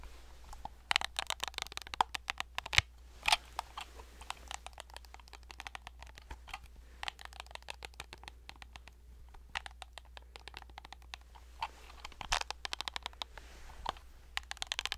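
A hand-sized hollow plastic fidget cube with silicone pads, keys and a switch on its faces is worked by fingertips close up, pressing and clicking the buttons and tapping the faces. Many quick, dry, bright clicks and taps come in irregular bursts with tiny soft rustles between them. A steady low hum runs underneath throughout.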